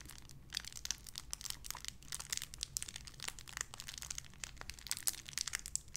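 A small clear plastic bag wrapped around a small white figurine is crinkled and squeezed between fingertips with long red nails. Dense, bright crackles and crinkles pop continuously over a faint steady low hum, each snap dying away almost instantly.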